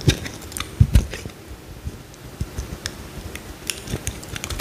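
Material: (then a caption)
Soap. A small solid cream bar soap is held in the hand and cut with a utility knife blade, peeling off thin slices. An irregular series of short, dull, low thuds and soft crunching scrapes is heard, each dying away quickly, with faint bright ticks.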